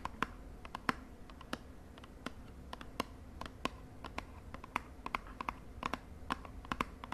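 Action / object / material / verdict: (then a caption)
tap / small cardboard cosmetic box / cardboard / none. Long fingernails tap rapidly on the face of a small, hollow purple cardboard cosmetic box held in the other hand. About thirty sharp, dry clicks come in an uneven stream, each with a brief hollow knock that dies away almost instantly over a soft, steady background hiss.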